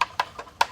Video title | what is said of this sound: DIY Pleco Breeding Caves from nature | one here that's dead you can hear it it's hollow it's cracked